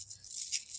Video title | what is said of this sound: Buyer/Seller Awareness -PEARLS | Kind of sounds like glass though, doesn't it?